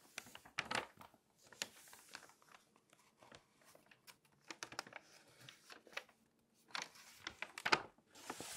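A flat hand with long nails rubs across the pages of an open glossy paper magazine lying flat, taps them with a fingertip, then turns a page. Quiet, bright crinkling and papery rustles mix with short, sharp taps, and the sound lifts into a louder crinkle as the page turns.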